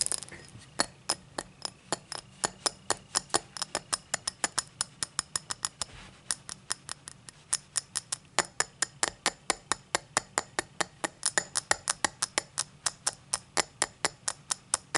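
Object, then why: Cut crystal highball glass. Long black nails tap and scratch the faceted surface of a tall, empty cut-crystal highball glass lying on a towel. A steady stream of dozens of quick, bright clicks and clinks is heard, each dying away almost instantly, with faint scratching between them.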